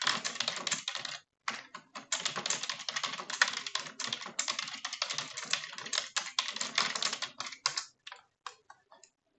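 Long French-manicured nails type on a full-size dark plastic computer keyboard, sometimes with one hand, producing rapid bright, clicky key taps with almost no low end. The dense bursts of typing pause briefly near the start, then continue steadily before thinning to a few scattered taps at the end, each tap dying away almost instantly.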